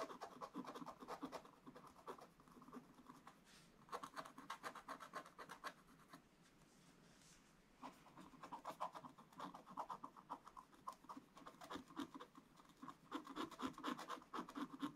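A thin wooden stick, held upright, scratches the lower part of a black wax-coated scratch-art paper page. Quick, dry, rasping strokes come in irregular bursts, focused in the midrange with little low end. A quieter stretch falls near the middle before the scratching picks up again.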